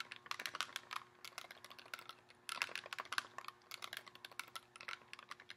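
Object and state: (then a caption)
Clear plastic blister tray. Fingernails tap and scratch across a hollow, thin clear plastic insert tray holding nine lip gloss tubes, out of its box. A quick, uneven run of dry, sharp clicks with a bright, crisp edge dies away almost instantly, over a faint steady low hum.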